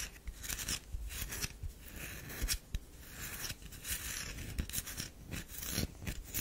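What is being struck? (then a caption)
Bar of soap. Long fingernails scratch the surface of a solid round DURU bar of soap, already heavily scratched, as it rests in an open palm. The result is a series of dry, crunchy scraping strokes with bright, hissy edges and a low rumble underneath, each stroke stopping short with almost no ring.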